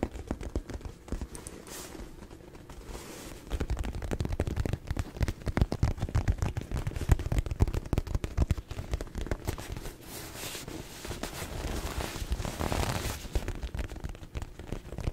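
Fingertips tap and scratch the padded surface of a small gold metallic quilted faux-leather handbag, hollow and apparently empty, held close up. Quick, dull, low thumps come in dense crackling bursts that grow busier through the middle, mixed with soft scratchy brushing that swells briefly near the end.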